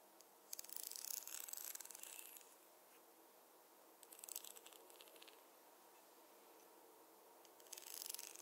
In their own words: 07:08 Fine tooth comb - scratching your scalp & tapping